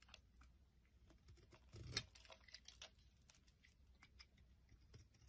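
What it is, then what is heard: Bar soap being carved. A metal blade scrapes crumbly chips off a solid oval green-and-white bar of soap held in the hand. Soft, bright scraping and crisp little crackles run throughout at a quiet level, with a louder, fuller scrape burst near the two-second mark.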